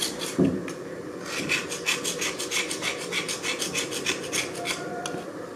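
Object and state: Slate slab scraped with a knife.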